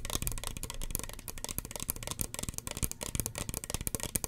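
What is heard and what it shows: A small, hollow red plastic spray bottle with a white plastic pump cap is held in the hand and tapped rapidly with long fingernails. The result is a quick, uneven run of dry, clicky taps, each with a soft hollow low thump and a bright, crisp tick that stops almost at once.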